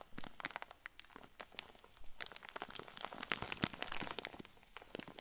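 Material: Plastic.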